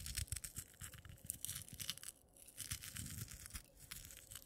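Fingertips with long natural nails pinch, rummage through and drop loose dry instant coffee granules spread on a dark clay plate. The result is a quiet, dense, gritty crackle of bright scratchy ticks over soft low bumps, with a brief lull midway before the rustling resumes.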